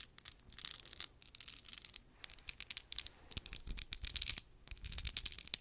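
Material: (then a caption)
Cardboard. Long nails scratch and tap quickly on a small, hollow, rectangular matte pink cardboard lip gloss box. The result is a dense series of dry, crisp scratching and tapping bursts, bright and high with little low end. The bursts come in rapid clusters separated by brief pauses.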